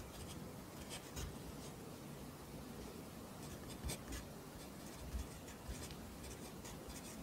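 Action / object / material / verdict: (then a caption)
scrape / pencil on lined paper notebook / paper / none. A pencil writes across the lines of an open lined paper notebook, its graphite scratching softly and steadily against the paper. The quiet, continuous scratching has thin, bright strokes on top, and four slightly louder marks stand out along the way.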